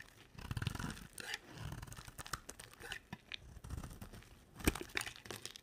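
A box-cutter blade shaves and carves a dry, solid, rectangular olive green soap bar. Short crunchy, tearing scrapes come in quick bursts, with a dull low body under bright crackles. A sharper, louder cut near the end stands out.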